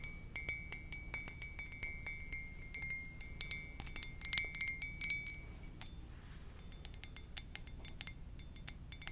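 Long nails tap rapidly on the glazed side of a hollow white ceramic mug with a lips print. They make bright, clinking clicks with short, high ringing tones over a low steady hum. The tapping briefly eases around the six-second mark before resuming with a higher ring.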